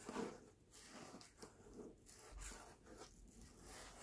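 Fingertips and nails tap and scratch the paper dust jacket of a closed hardcover book resting on a black cloth. The result is a quiet run of dry, papery scratches and soft rubbing strokes, with brief muted taps that die away almost at once.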